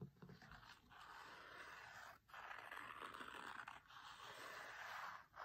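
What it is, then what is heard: Cloth-covered hardcover book. Fingertips with short nails tap and scratch the grey linen cloth cover, printed with a photo, of a large, solid, closed hardcover cookbook lying flat on a marble table. The result is a steady, dry scraping rasp centered in the midrange around 1.5 kHz, with a few brief pauses between strokes.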